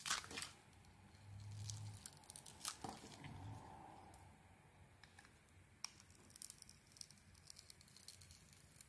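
A small metal blade carves thick slices from a solid red, glitter-coated ISANA bar of soap with a white interior, held in the hand. Crisp, bright scraping and crumbly tearing sounds come in short, uneven bursts, with a few sharper clicks over a quiet low hum.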